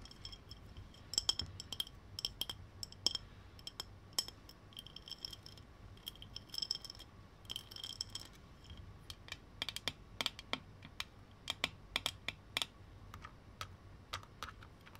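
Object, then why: Textured glass jar with metal lid. A small textured glass mason jar with a metal lid and a straw is held in the hand while fingertips and nails tap and scratch its bumpy glass surface and the lid. Quiet, dense clicks and scratches come in scattered clusters, bright and short with a faint high ring on the taps.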